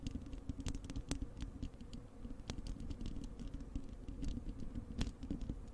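Long acrylic nails on both hands scratch the bare, hollow wire-mesh metal grille of a large desktop microphone. The result is a steady, dense patter of scraping and tapping with a boomy low rumble, dotted with sharp, bright clicks.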